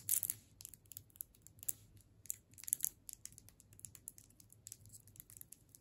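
Long nails tap and scratch a solid hard sugar candy cane in its clear plastic wrap. It makes a rapid, quiet series of bright, crisp crinkles and clicks that sit almost entirely in the high frequencies. A faint low hum runs underneath.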